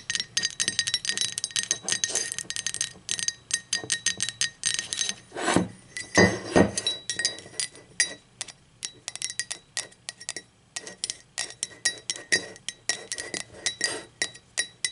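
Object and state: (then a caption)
Ceramic mug. Long pointed acrylic nails tap and scratch the body and handle of a hollow, empty blue speckled glazed ceramic mug as it is tilted and then laid on its side. The result is a dense run of quick, bright clinks with very short ring, plus a few louder scraping strokes around the middle of the clip.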